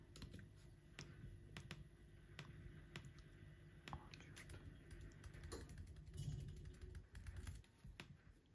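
Fingertips type on the plastic keys of an aluminum laptop keyboard, producing a steady run of sharp key clicks over a low, rumbling background. The clicks come in quick irregular bursts, with a slightly louder stretch toward the end.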